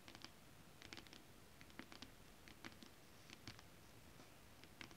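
Long acrylic nails scratch, then tap, a flat holographic mermaid scale-print fabric. Quiet, crisp little ticks and scratchy brushes with a bright top come in uneven clusters over a low, steady hiss.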